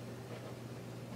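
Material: Nothing is struck.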